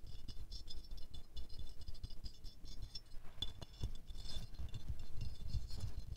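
Fingernails tap quickly on the petals of a small silver-glazed ceramic rose figurine held in the hands, making a dense, fast rattling patter of short, dry clicks. The taps have a low, soft body with bright clicky edges, and each one dies away almost instantly.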